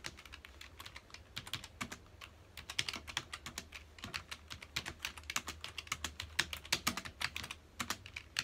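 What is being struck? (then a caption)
Plastic computer keyboard. Fingertips of both hands type quickly on a full-size black plastic computer keyboard with a hollow key housing, resting on a dark desk. A dense stream of short, bright, clicky keystrokes with a faint low hum underneath, each click dying away almost at once.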